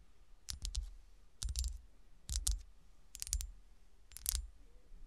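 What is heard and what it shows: A small solid cut-glass golf shoe ornament with a textured, frosted surface rests on a shiny dark cloth while long, dark-polished nails tap and scratch its ridged surface. Five short clusters of bright, crisp clicks with very little ring sound about once a second, each followed by a soft low thump.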